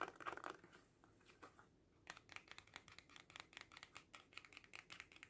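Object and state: Faux leather coin purse tapped.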